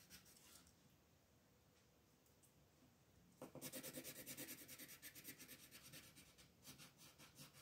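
A pink wooden colored pencil rubs across a flat white paper coloring page, shading in the petals. Faint, soft scratching gives way at about three and a half seconds to louder, rapid back-and-forth strokes with a bright, raspy texture, about three per second.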